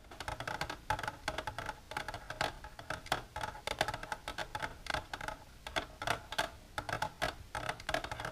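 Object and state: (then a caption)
Plastic container tapped with nails. Long natural nails with silver polish tap continuously on a plastic container. Quick, dry, clicky taps come in rapid bursts and clusters, each dying away almost at once, with a hollow tone around 630 Hz and a bright edge.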